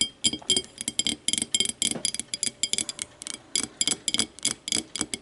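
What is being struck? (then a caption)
Small empty glass tumbler. Long matte nails tap and scratch the outer wall of a small, empty, clear glass whiskey tumbler lying on its side on a wooden table. A quick, uneven run of bright, clicky taps with a glassy tone around 3.2 kHz is mixed with faint scraping. Each tap dies almost instantly with very little ring.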